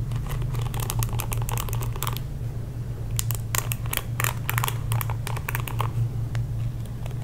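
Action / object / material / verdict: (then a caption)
scrape / plastic paddle hairbrush bristles / plastic / none. Fingertips and nails scratch and strum across the dense plastic bristles of a pink plastic paddle hairbrush, making quick bursts of bright, crackly plucking in uneven clusters. A short pause falls in the middle, and a steady low hum runs underneath throughout.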